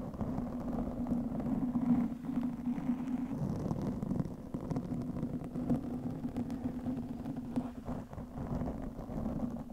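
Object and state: Foam microphone windscreen being scratched.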